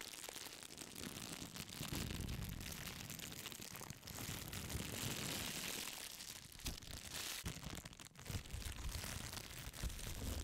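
A thin, clear plastic bag held by one corner is crinkled and scrunched with long pink nails close to the mic. The result is a dense, continuous crackling rustle, bright and hissy on top with a soft low rumble underneath, easing briefly around the 4- and 8-second marks before picking up again.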